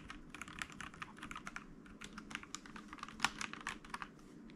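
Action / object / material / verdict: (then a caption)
tap / mechanical keyboard with plastic keycaps / plastic / none. Fingertips of both hands type on a white mechanical keyboard with plastic keycaps lying on a desk. A quick run of bright, sharp plastic clicks and clacks follows, each tap dying away almost instantly.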